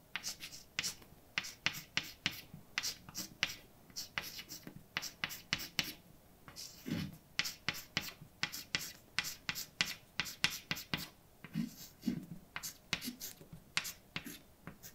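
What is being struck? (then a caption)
Chalk stick on painted blackboard. A hand writes words with a white chalk stick on a large, flat, dark painted blackboard with a solid surface, making about three dozen short, scratchy and tapping strokes. Each stroke is bright and dry, with almost no ring and little low end. Brief pauses fall between bursts of writing.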